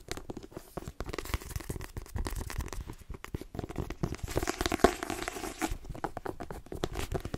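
A solid, hand-held paperback book with a glossy cover is tapped quickly with the fingernails and its cover gripped. The result is a dense, fast stream of short, dry taps mixed with crinkly scratching and gripping sounds, weighted toward a low, papery thud with a sharper click partway through.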